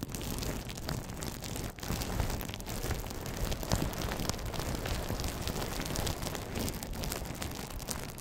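A clear, thin, air-filled plastic bubble wrap sheet about 30 cm wide is held in both hands in front of the microphone and crinkled and squeezed with the fingers, not wrapped on the mic. A dense, continuous crackling and rustling runs throughout with a heavy low rumble, scattered bright snaps, and a brief dip in loudness near the two-second mark.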